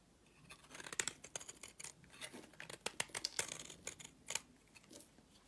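A box-cutter blade scrapes across the face of a solid purple soap bar held in the palm. It makes a quick series of short, crisp, bright scraping strokes with almost no low end. Each stroke stops dry, leaving a faint hiss between them.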